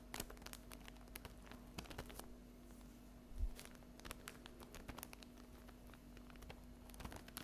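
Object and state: Plastic-wrapped paper napkin pack.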